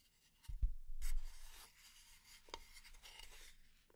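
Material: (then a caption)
Wood. Long nails tap and scratch the solid flat blade of a light wooden kitchen spatula held in the hand, giving a few soft, dull, low taps followed by dry, rasping scratches that come and go across the blade.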